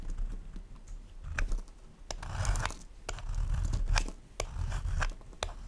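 A solid white bar of soap, held in one hand, is scraped with a plastic peeler, and the shavings fall onto a wooden board. Irregular dry scraping strokes and crisp, bright clicks sound over a low, dull rumble, with a few louder, longer scrapes standing out.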